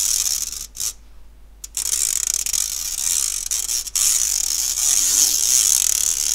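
A round, medium-size stainless steel wire-mesh kitchen strainer, hollow and empty, is held up by its handle in one hand close to the mic while the other hand's fingertips and nails scratch across the fine mesh. The result is a bright, hissy, raspy scratching with a fast, uneven ratchet-like texture and almost no low end. It drops to near silence briefly around the one-second mark and again just before four seconds.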